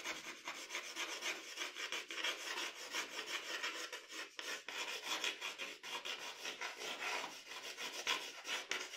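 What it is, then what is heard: Pencil strokes on drawing paper. A pencil draws long, scratchy hair strokes across a sheet of drawing paper. The result is a steady, bright rasping scratch that swells and fades with each stroke, with almost no low end.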